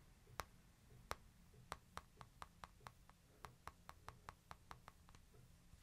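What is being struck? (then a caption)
Smartphone with glass screen. A fingertip and short nail tap and click on the glass screen of a small, flat, solid smartphone with a light-colored frame, held in one hand near the microphone. Eighteen short, dry clicks ring out, sparse at first and then faster and more even, each with a crisp bright snap centered around 1.2 kHz over a quiet low hum.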